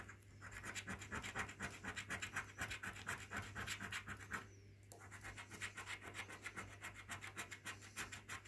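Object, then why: Paper scratchcard scratched with a coin. A coin scratches the silver latex panels off a thin, flat orange National Lottery scratchcard made of printed card, held down by fingertips on a wooden table. The rapid back-and-forth strokes make a steady, bright, papery scraping that pauses briefly near the middle before resuming, with a low hum underneath.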